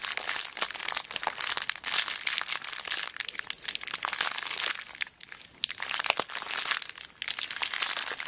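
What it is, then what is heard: Plastic zip bag of beads. A small clear plastic zip bag full of beads is squeezed with thumbs and long black nails, producing dense, bright crinkling and crunching with no low end. The rustle runs almost continuously, briefly quieting around five seconds and again near seven seconds before resuming.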